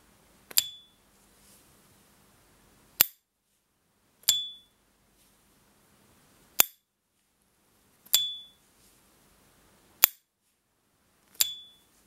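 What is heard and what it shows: A 1990 S. T. Dupont Line Gatsby pocket lighter, with a gold-plated metal body and brown marbled lacquer panels and held in white cotton gloves, has its hinged metal lid flicked open and snapped shut. Seven sharp, bright metallic clicks sound in the quiet, several carrying the lighter's short, high "ping" ring.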